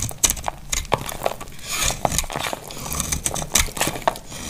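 A hand-sized, solid, dry amber translucent glycerin-like soap bar is shaved into crumbly flakes with a utility knife blade. Quick, crisp scraping cuts come one after another with bright crackling flakes and short snaps that end almost at once. A faint steady low hum runs underneath.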